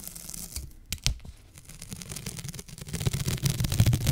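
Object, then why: Adhesive paper sheet on a lint roller. A sticky paper sheet is slowly peeled off a lint roller held in one hand, using long fingernails. The adhesive gives a continuous crackling, tearing rip with a low, rumbling texture and bright crisp edges. It grows louder and denser toward the end.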